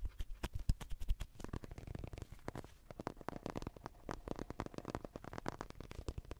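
Fingertips and long nails rapidly tap and scratch the head and torso of a hollow white plastic human acupuncture doll, about 30 cm tall, held next to the microphone. The result is a quick, dense stream of short, dull, low-heavy knocks with very little ring, mixed with faint scratchy rustling, all at a fairly quiet level.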